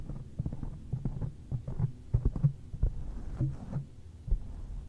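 Fingertips of one hand tap repeatedly on a black foam windscreen covering a microphone, with the mouth kept closed. The result is a quick, irregular run of dull, muffled thumps, almost all deep low-end energy with no brightness, each dying away almost instantly.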